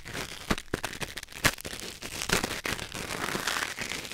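A thin wooden or bamboo ear pick held in the fingers scratches and scrapes inside the canal of a white silicone ear mounted on a black binaural microphone. Bright, crackly rustling is broken by sharp clicks and pops.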